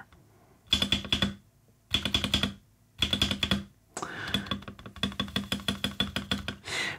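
Fingertips repeatedly tap the spacebar and nearby keys of an RK84 75% mechanical keyboard with white, black and maroon plastic keycaps and a dark case, lying flat on a desk. Short bursts of quick, bright clacks with a low thock underneath are separated by brief pauses, followed by a longer steady run of taps. A soft, breathy swell closes the clip.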